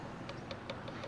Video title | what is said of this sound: Trimming a foot on a pot | If it sounds clunky like this, then you know you still have quite a bit of clay left.